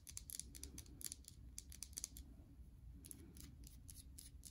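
A solid bar of soap with a white underside and a red embossed top is turned in the hands while long nails tap and scratch its surfaces. Quick, bright clicks and short scratchy strokes come in bursts over a low, steady background rumble.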